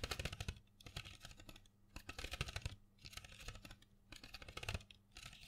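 Long fingernails tap and scratch a small printed cardboard box full of colored pencils held in the hand. Quick bursts of crisp, bright clicks over dull low thumps come in clusters separated by short, quieter pauses. The taps are dry and die away almost at once.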